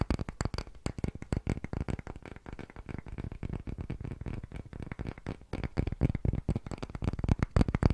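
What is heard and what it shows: Fingertips tap rapidly on a palm-sized, solid round block of light pale wood held in both hands close to the microphone. The taps are fast, dull and low-pitched, each dying away almost at once, and they grow louder and sharper toward the end.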